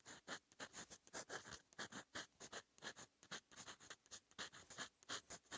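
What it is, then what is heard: Steel fountain pen nib writing on paper. A silver steel fountain pen nib, held in fingertips, writes Korean handwriting on a lined cream paper notebook page lying flat against a surface. It produces quick, bright scratching strokes in rapid bursts with short gaps. The sound is quiet and close, with almost no low end.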